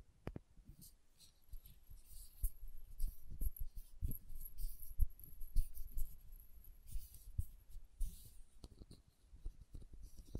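Long nails tap and scratch the red plastic cap and label of a small, filled glass condiment bottle. Soft, dull clicks and low thuds come at an uneven pace, mixed with brief bright scratchy rustles. The sound stays quiet and close, with a faint steady high tone underneath.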